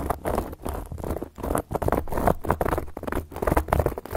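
Long gold metal claw nail caps scratch fast across a round, flat, solid cork board. The result is a dense, rustling patter of scraping strokes with a low rumble underneath and repeated short surges that fade almost at once.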